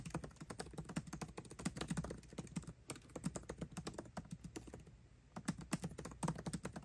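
Both hands type fast with their fingertips on a 13-inch aluminium MacBook Pro laptop keyboard with backlit black plastic keycaps. The result is a quick, continuous stream of soft, dull, low clicks with very short decay, with a brief lull about five seconds in before the typing picks up again.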